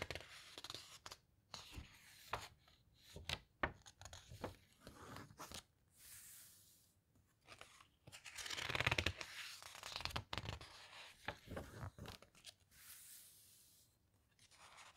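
A smaller open hardcover guitar book with glossy paper pages is squeezed and its pages turned by fingertips with long red nails. Irregular crisp crinkles, rustles and sharp paper snaps come and go over quiet stretches, with a louder, bright sustained rustle in the middle as pages sweep past.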